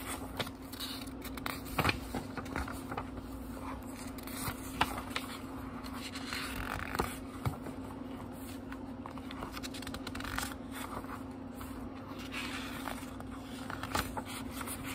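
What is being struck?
Paper pages of a small book.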